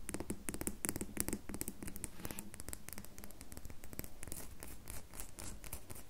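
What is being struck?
Bar of soap.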